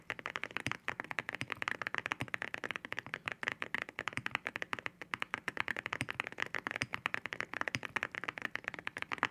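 Rapid typing with both hands' fingertips on a white 65% mechanical keyboard with ceramic keycaps (Cerakeys), an aluminum case and a POM plate. A dense, steady stream of sharp, bright clacks sits mostly in the upper mids with almost no low end. Each keystroke stops instantly with no ring.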